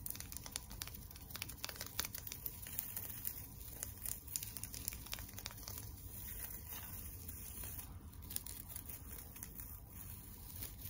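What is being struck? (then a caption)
Tinsel decoration on a wire frame. Long nails scratch the tinsel on the head and body of a flat tinsel teddy bear decoration built on a wire frame. The result is a steady, soft crinkling and rustling with many small, crisp scratches over a low background rumble.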